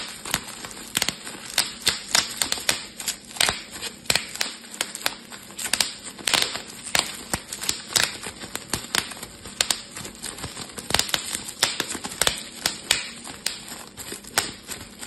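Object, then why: Plastic bubble wrap sheet. A clear plastic bubble wrap sheet is twisted between both hands while its bubbles are popped with the fingertips. The result is a rapid, irregular series of sharp, bright pops and snaps over a steady crinkling hiss, each pop dying away almost instantly.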